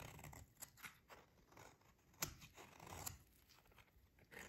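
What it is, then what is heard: Dry soap bar being shaved. A solid, hand-sized bar of dry pink soap, held in one hand, is shaved with a short metal utility blade, and thin crunchy curls fall onto the table. Quiet, dry scraping and scratching strokes come in a series of bright, crisp crunches, with two sharper clicks standing out. Soft rustling fills the gaps between them.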